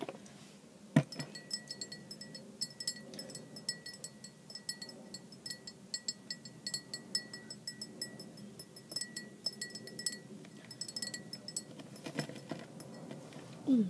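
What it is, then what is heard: Glass measuring jug with liquid. A clear glass measuring jug with a printed scale, partly filled with red liquid, is tapped with long black-painted nails. Quick, light glassy clinks patter on steadily with bright, short ringing, broken by a sharper knock near the start and a louder burst at the very end.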